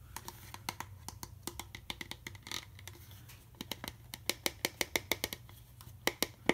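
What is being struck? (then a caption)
Plastic juice bottle. Fingertips and nails scratch and tap the ridges on the neck of an empty, capped, clear plastic juice bottle held sideways. About thirty quick, bright, dry clicks and scratchy taps come in an uneven stream over a steady low hum, growing slightly louder toward the end.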